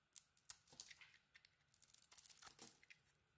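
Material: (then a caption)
Soap. A metal utility knife blade carves and chips a solid orange soap bar with remnants of a dark glitter coating. Quiet, irregular crisp scrapes and crackly snaps follow one another, each sharp and bright with almost no low end and no lingering ring.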